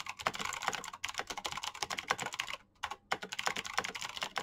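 Fingertips with painted nails type fast on a black plastic full-size Razer BlackWidow mechanical keyboard with green clicky switches and backlit keycaps. A rapid stream of sharp, bright clicks with very short ring runs almost continuously, broken by one brief pause just before the three-second mark.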